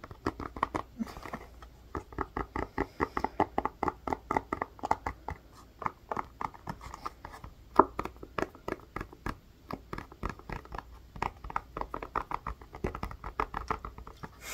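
Fingernails tap and scratch along the bumps of a blue, bubble-sectioned plastic ice pack with a white rim, held in the hands. Dozens of quick, dry, hollow plastic taps arrive in uneven bursts, each dying away almost instantly. Faint scratching runs between them, and the overall level stays quiet and midrange with little low end.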